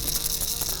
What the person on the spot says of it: great rattle. I'm gonna shake it. Very intense rattle.